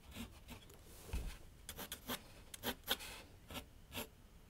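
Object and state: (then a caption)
Pencil scratching on paper. A graphite pencil draws and scratches lines on a large flat sheet of white paper on a board set on an easel. Short, dry, bright scratching strokes come in quick bursts, some longer and rougher, over a faint low background hiss.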